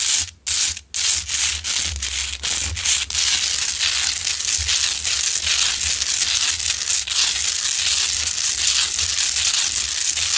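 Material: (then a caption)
Rock salt. Long nails scratch aggressively at the sides of a large, lit Himalayan salt rock lamp, a solid, rough pink salt crystal. A few short, bright scratches with brief pauses give way to a steady, dense, high-pitched rasping that continues to the end.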